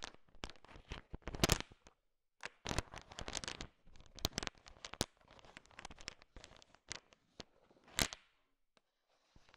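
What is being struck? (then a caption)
Bowl of sugar-shelled peanut candies. A thin wooden stick stirs and taps through a bowl heaped with small, hard, sugar-shelled peanut M&Ms. The candies are heard clattering and crunching against each other in bright, sharp clicks and rustling bursts, broken by short quiet pauses.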